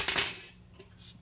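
A brass guitar saddle is dropped or tapped, giving a bright, high metallic clink that rings for about half a second, followed by a fainter second tick. The sound has substance.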